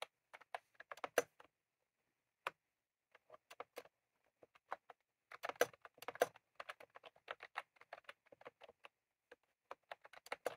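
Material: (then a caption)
Plastic. Both hands type rapidly with fingertips on a full-size retro-style plastic mechanical keyboard with round cream plastic keycaps on a plastic case, resting on a desk. Bursts of short, crisp clicks and clacks come in uneven runs with brief pauses, each tap dying away almost instantly with a light, bright edge and no low thump.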